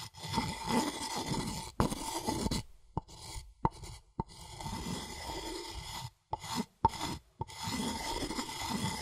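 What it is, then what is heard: Wooden mortar and pestle being ground. A wooden pestle is rubbed and ground against the inner wall of a light, hollow, empty wooden mortar, making dry rasping, scraping strokes. The grinding comes in bursts broken by short silences, with a few sharper knocks standing out between them.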